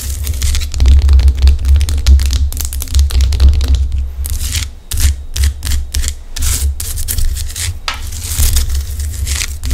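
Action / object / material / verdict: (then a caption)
scrape / rock salt lamp / rock salt / none. Long acrylic nails scratch the rough surface of a large, solid pink Himalayan rock salt lamp held close to the microphone. The result is dense, bright, gritty scraping in quick, uneven bursts over a steady low hum, with a brief dip just before the middle.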